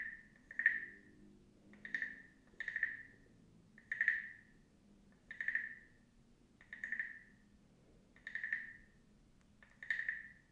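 A small, hollow carved wooden frog guiro with a mouth opening is scraped and tapped with a wooden stick close up, producing about eight short, ratcheting croak-like bursts centered near 1.8 kHz with bright clicky edges. Each burst fades almost immediately, separated by quiet gaps over a faint low background murmur.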